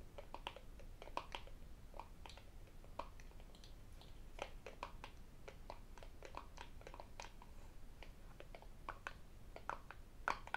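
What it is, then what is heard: Empty cardboard box lid. An empty, hollow white rigid cardboard phone-box lid is held in the hands and tapped with fingertips, nails and metal rings. It gives a quiet, irregular stream of short, crisp taps with a hollow knock around 1 kHz and bright clicky edges. Each tap dies almost instantly over a faint low rumble.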